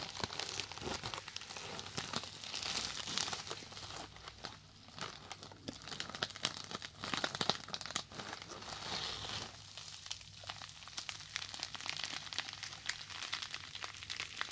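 A small, soft, porous rectangular yellow foam sponge is held in both hands and squeezed and rubbed with the fingertips. This produces a continuous stream of bright, crinkly crackling and squishing that swells and fades, over a faint steady low hum.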